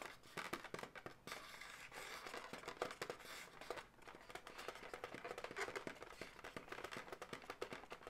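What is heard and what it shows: Long nails tap and scratch the segments of an inflated, hollow light pink latex balloon dog. Rapid, dry clicks and squeaky, scratchy rubbing run throughout, quiet and bright with almost no low end, each tap dying away almost instantly.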